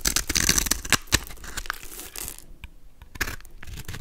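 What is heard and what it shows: A golden utility knife blade scrapes and carves small cubes off a solid, palm-sized pink soap bar with a pre-scored grid, held in the hand. The result is a dense, bright, crackly scraping with sharp crunchy snaps, loudest in the first second. It then thins to softer scratches, with a near-silent gap before a final burst of scraping.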